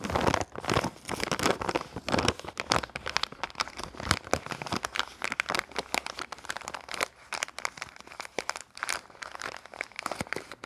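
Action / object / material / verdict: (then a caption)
scrape / thin plastic-film soap wrapper / plastic film / none. Fingers crinkle, fold and rub a small, printed red and yellow plastic-film soap wrapper. The result is a steady run of sharp, dry crackles and crinkling bursts that are bright and crisp, with little low end, and each snap dies away almost instantly.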